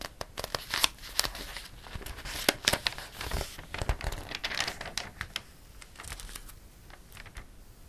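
A hand turns the pages of an open glossy paper catalog lying flat while fingertips brush across the paper. Bright, crinkly rustles mix with sharp, quick snaps as each page flips and lands. The sound builds in the middle, then eases into softer brushing toward the end.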